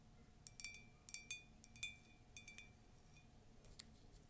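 Long nails tap and scratch the side of an empty, hollow, tall white ceramic latte mug with a colourful text print. Quiet, irregular bright clinks ring briefly around 2.3 kHz, with soft scratching between them over a low steady background hum.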